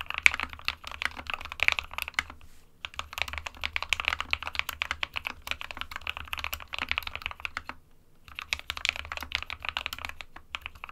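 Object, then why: Plastic mechanical keyboard. Fingertips of both hands type continuously on a small SK61 60% mechanical keyboard with a plastic case and plastic keycaps, hollow with switches inside. Rapid, bright, sharp clacks run in steady bursts with brief pauses near 3 and 8 seconds, each click dying away almost instantly over a faint low hum.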